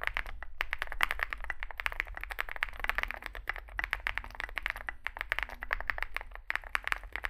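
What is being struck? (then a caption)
Mechanical keyboard with aluminium case and plastic keycaps. Both hands type continuously with their fingertips on a compact 65% Zoom65 mechanical keyboard, with an aluminium case, foam filling, lubed switches and SA plastic keycaps, resting on a desk mat. Rapid, dense streams of short, dry clicks and clacks center around 2 kHz, with very little ring after each press. A low steady hum sits underneath throughout.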